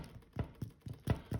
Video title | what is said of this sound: Grunge Kitchen - Episode 2 - Jalapeno Bread 1 | you can knock on it and it sounds hollow